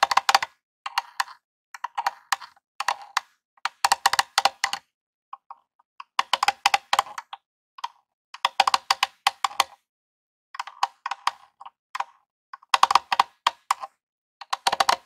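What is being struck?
Plastic game console casing.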